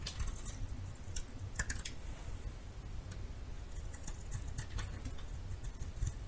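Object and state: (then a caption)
Bar of soap being carved. A metal knife scrapes and carves a solid yellow bar of soap held in the hand. Quick, dry, bright scratchy clicks and crackles come in short bursts over a low, steady rumble.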